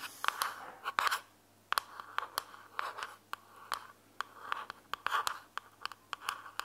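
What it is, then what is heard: Plastic earbuds charging case. Long fingernails scratch the sides and top of a small, closed, hollow white plastic earbuds charging case held between both hands. Quick, dry scratching bursts centered around 1 kHz alternate with sharp, bright clicks and brief silent gaps. Each sound stops instantly with no ring.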